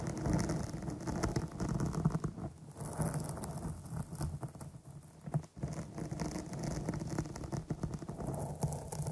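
Long nails scratch and tap across the top of a dark foam microphone windscreen, with the fingertips arched over it. The result is a steady, dense patter of muffled, low-heavy scraping and soft taps with almost no brightness, broken by a brief quieter moment midway.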